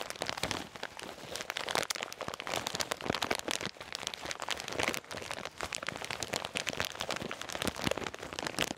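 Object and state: Full bag of peanuts, crinkled.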